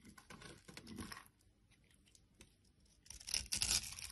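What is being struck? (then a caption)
Bar soap. A utility knife blade scrapes and shaves a solid orange bar of soap held in the hand and partly carved into a textured shape, so crumbly orange shavings fall onto a wooden surface. Dry, bright, crumbly scratching comes in short bursts, goes nearly quiet in the middle, then returns as a louder, harsher shaving burst at the end.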